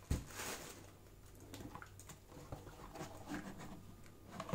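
Yellow rubber-gloved fingertips tap and scratch the walls and open lid of an empty, hollow Converse shoebox made of black-printed cardboard, while the wrapped shoes lie nearby untouched. The result is a quiet, dense patter of short, dull knocks and soft scratchy brushes with a low, hollow body and almost no ring.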